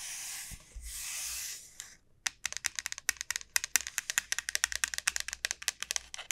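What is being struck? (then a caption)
Dried bottle gourd shell. Long nails scratch the bulbous end of a large, elongated dried bottle gourd with a hard, hollow shell, making about two seconds of bright, hissy rubbing. A short pause follows, then roughly thirty quick, crisp, bright taps on the hard shell, each dying out almost instantly.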